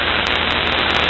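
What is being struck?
Nothing is struck.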